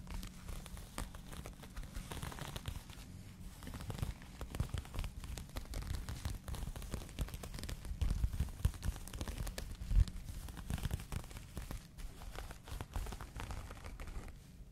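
Fingers squeeze, rub and scratch the open-weave fabric of a pink cotton crochet bag held up close to the microphone. The result is a steady, dense rustle of soft crinkles and scratchy crackles, weighted heavily toward a low, muffled rumble. One sharper, louder scrape stands out near the ten-second mark.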